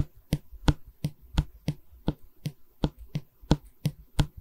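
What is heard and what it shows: Long red nails tap and scratch along the face of a long solid pine stretcher bar of a wooden canvas frame held in both hands. Twelve short, dry taps land at a steady, unhurried pace, each a quick low thud with a brief bright click that dies away almost instantly. Faint scratching fills the gaps between them.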